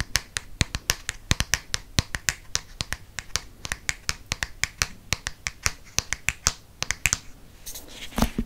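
Fingernails tap rapidly on the front cover of a green Harry Potter hardcover paper book, producing around forty sharp, bright clicks in an uneven, quick rhythm. Each tap is dry and dies away almost instantly, with a faint hiss between the taps and a brief scratchy rustle near the end.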